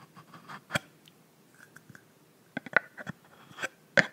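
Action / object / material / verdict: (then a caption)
tap / plastic mist bottle cap / plastic / none. Long nails tap and scratch the frosted pink plastic cap of a filled plastic body mist bottle. Sharp, dry clicks are heard between soft scratching, with brief, bright ticks that stop almost instantly.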